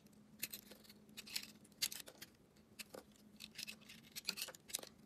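A metal blade scrapes and carves the surface of a hand-sized, solid bar of soap with a gold glitter coating and green striped inside, held in one hand, flaking chips off. It makes a quick series of short, bright, crisp scraping and crackling strokes with almost no ring, over a faint steady low hum.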